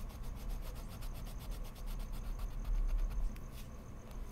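A colored pencil tip shades the petals of a drawing on a large, flat sheet of white mixed media paper resting on a wooden desk, while the other hand holds spare pencils still. Steady, scratchy rubbing strokes repeat about four times a second over a low, dull rumble, staying soft and even, with a slightly fuller stretch near the middle.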